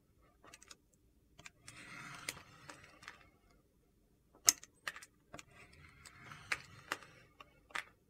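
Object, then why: Solid bar of soap. The edge of a large solid white soap slab is shaved with a red-handled vegetable peeler, producing curls. Two soft, hissy scraping passes are broken up by sharp, dry clicks and ticks. The sound is quiet and mostly high-pitched, with almost no low end.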